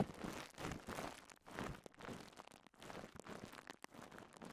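A rolled strip of clear polyethylene bubble wrap is held in both hands while fingertips and thumbs pop and crinkle the bubbles. Quiet, close crackling comes in a series of short bursts separated by brief pauses, with small sharp pops scattered throughout.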